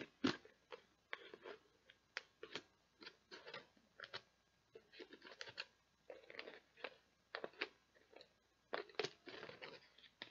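Long nails tap and scratch the lid and label of a clear plastic tub that is partly full of beads. The result is a quiet, irregular run of short, crisp clicks and scratchy rasps. They are bright and dry, with almost no low end, and each one dies away almost at once.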